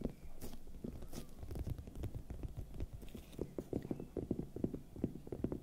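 A large, hollow, raw red bell pepper is held in one hand and tapped with the long nails of the other hand. The result is a quick, continuous run of soft, dull, hollow taps, mostly low in tone with a faint mid pitch, each dying away almost instantly.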